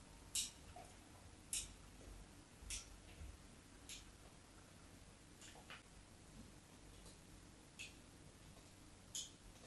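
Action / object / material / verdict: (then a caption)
scrape / solid bar soap scratched with a knife tip / soap / none. A knife blade tip scores and scratches the surface of a solid rectangular white bar soap held on a table. About seven short, sharp, bright scrapes ring out at uneven intervals over a quiet, low background hiss.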